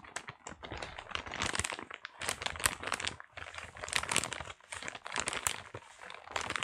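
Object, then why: Paper-wrapped parcel. A small, flat parcel wrapped in brown kraft paper is held in both hands and squeezed and rubbed with the fingertips. Dense, bright paper crinkling and crackling comes in quick bursts, with short pauses between squeezes.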